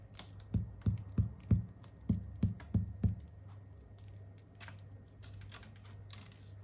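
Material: Bread.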